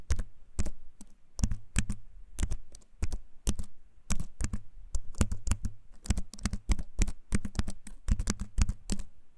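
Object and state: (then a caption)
Keyboard with wooden frame and plastic keys. A compact keyboard with a wooden frame and plastic keys is held up close and typed on with the fingertips. Its clicky keycaps give a fast, irregular run of sharp taps, each with a deep low thump and a bright click on top that dies away almost at once.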